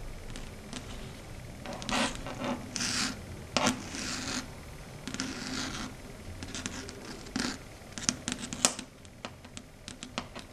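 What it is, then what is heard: Fingernails scratching a chalkboard. Long red stiletto nails scratch across the flat matte dark grey chalkboard surface. Bursts of bright, hissing scrapes mix with sharp tapping clicks over a low steady hum.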